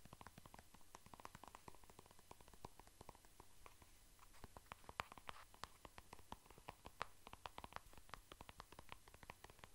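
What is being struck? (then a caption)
Soft plastic squeeze tube. A light green and white soft plastic squeeze tube of cream is tapped and scratched with fingertips and nails. The result is a dense, quiet stream of short, dry clicks and scratches with no ring, over a faint low hum.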